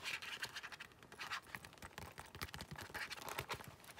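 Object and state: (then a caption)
Faux leather wallet interior. An open black faux leather zip-around wallet with glossy black leather-like card slots is held in both hands and scratched and tapped with long nails. The quiet, bright scratching comes in quick, dry bursts mixed with soft taps, and the sound dies away almost at once.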